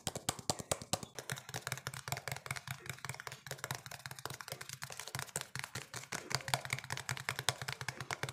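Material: Plastic.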